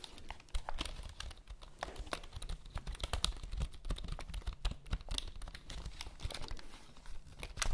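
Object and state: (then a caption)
Plastic computer keyboard. A black plastic computer keyboard with a cable is held upright while long nails rapidly tap and scratch across its keys. Dry, sharp clicks and scratchy rasps come in a steady, uneven stream, each ending almost instantly, over a low hum.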